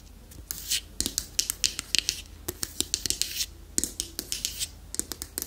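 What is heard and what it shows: Long manicured nails tap and scratch the flat lid and sides of a small, closed, dark striped hardwood box held up in the air. Around two dozen quick, dry, clicky taps with no ring are mixed with bright, hissy scratching bursts, with almost no low end.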